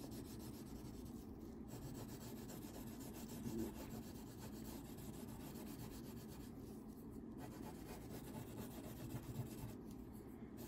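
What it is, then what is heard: Paper page being coloured with wax crayon. A blue wax crayon rubs in long scribbling strokes along the edge of a thin paper coloring page lying flat on a table. The result is a quiet, steady, papery scratching and rasping that is mostly low and mid in tone, with little brightness and no clear breaks.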